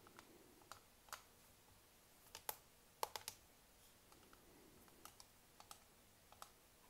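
Long nails and fingertips tap and click on top of a small black hollow plastic computer mouse resting on a mouse pad. About 13 sharp, dry clicks and taps are heard, each dying out at once, scattered irregularly over a faint, quiet background.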